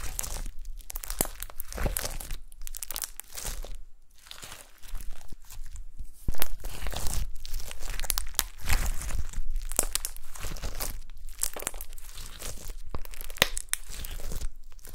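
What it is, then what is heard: Gold glitter slime. Gold glitter slime on a table is squished and poked with long nails and fingertips, making a steady stream of wet crackles, sticky pops and crinkly snaps. The bursts come in quick, uneven clusters with brief pauses between them.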